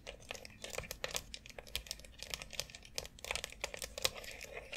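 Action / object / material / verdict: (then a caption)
tap / plastic foot massager board / plastic / none. Long acrylic nails tap and scratch the many rounded nubs and central dome of a white plastic foot massager board lying flat on dark fabric. The result is a quiet, dense run of quick, bright plastic clicks mixed with scratchy, crinkly rustling. Each tap is sharp and dies away almost at once.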